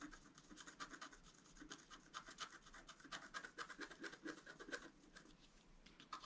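A wooden stylus scratches the floral area between the antlers on a flat, black-coated scratch art card lying on a table. Quick, irregular scraping strokes come in short bright bursts over a faint hiss, with some strokes louder and sharper than others.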